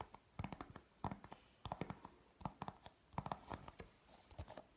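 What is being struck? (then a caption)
Thin printed cardboard chart. A thin, flat printed cardboard periodic table chart, held up in both hands, is scratched and tapped with natural fingernails. A quiet, irregular series of sharp, dry taps and short scratches is heard, each dying away almost instantly with no ring.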